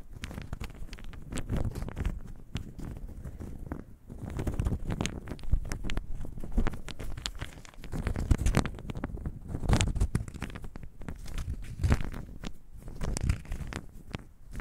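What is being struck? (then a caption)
Small wooden cubes shaken in a hand. About a dozen small solid light-colored pine cubes are held in a cupped bare hand and jostled and rattled together by the fingers. The sound is a dense run of short, dull clacks and knocks, mostly low and thuddy with little brightness, which rises and falls in bursts throughout the clip.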